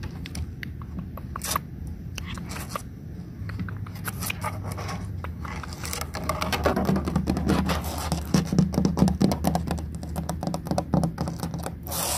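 Long nails scratch and trace along the ridges of a large molded yellow plastic play panel with cutouts and embossed shapes, with some fingertip tapping mixed in. Dense, uneven scratchy clicks and brief taps sit over a steady low hum, growing louder and busier in the second half.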